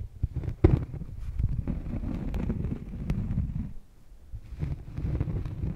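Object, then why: Thin cork coaster. A thin, solid cork coaster held on a furry microphone windscreen is scratched with long painted nails. It makes a dense, muffled, bassy rumble of scraping with a sharp thump near the start. The scratching briefly drops to near quiet around the four-second mark, then resumes.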